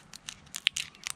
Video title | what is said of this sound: Harvesting two types of dry bush beans | hear how crispy that is